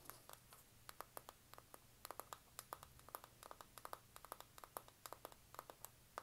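Long nails scratch and tap across the cover of a flat, rectangular, hand-sized pink printed cardboard eyeshadow palette. About 39 short, dry, crisp strokes come in an uneven rapid run, each dying away almost instantly. The clip is quiet, with a faint low hum underneath.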